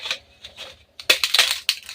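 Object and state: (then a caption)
Crisp roasted lentil papad. A roasted urad-moong dal papad is broken by hand, giving a series of bright, dry cracks and crunches. After a few softer snaps early on, the loudest cracking comes in the second half, showing the papad is crisp.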